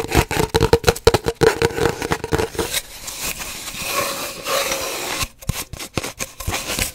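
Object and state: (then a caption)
Cardboard paper towel tube. Long nails tap and scratch on an empty, hollow cardboard paper towel roll held horizontally. Quick hollow taps with a faint ringing tone come first, then a stretch of steady, rough scratching, and then more scattered taps.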